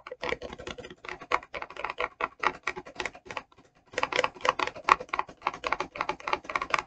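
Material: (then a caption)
Plastic. Long acrylic nails tap rapidly on the front of a clear, rigid plastic e.l.f. brush set box, which is hollow with brushes inside. The result is a fast run of crisp, clicky, dry taps with a bright edge and almost no ring. The tapping pauses briefly just before the four-second mark, then resumes.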